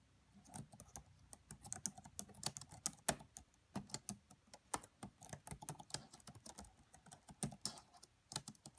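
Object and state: Plastic laptop keyboard.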